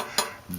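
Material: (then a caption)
Steel. A steel saw blade plate, given a simulated warp with a taped shim, is tapped on the side over the shim and rocks on even shims. One sharp, bright tapping clunk with a brief ring is followed by a faint low knock. It is the sound a warped blade makes when sitting on even shims.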